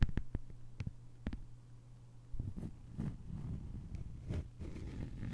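Long fingernails tap and scratch across a flat green plastic sheet lying on a table. A few sharp, quick taps come first, followed by softer, continuous scratching and rustling. The sound is quiet and dominated by low, dull thuds, with faint brighter clicks.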